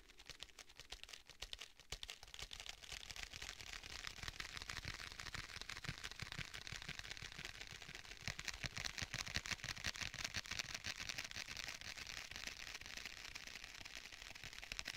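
Fingertips tap rapidly on the cover of a black faux leather tablet case held flat behind the mic. The result is a quiet, steady stream of soft, dry clicks with a bright, crisp edge, continuing without pause.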